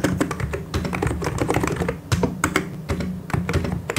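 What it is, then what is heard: Plastic mechanical keyboard. Both hands type continuously with their fingertips on a full-size mechanical keyboard with white and grey plastic keycaps and hollow key switches, pressing and tapping the keys. A rapid, uneven stream of short clacks and thocks is heard, with a deep low-end body and crisp bright clicks that die away almost instantly.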